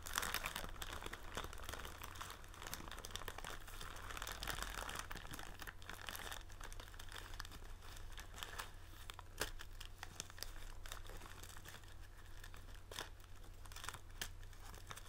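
Fingers squeeze, rub and crinkle a blue printed plastic film bag of tealight candles held up close, producing dense, continuous crackling and rustling with many sharp bright snaps over a steady low hum.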